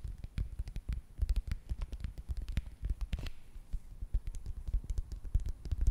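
A small red foil and plastic face mask sachet, held up close, is scratched and tapped with long nails. The result is a quick, uneven stream of short, dry taps and crinkly scratches, each with deep, soft thumps underneath and almost no ring, over a faint steady high hiss.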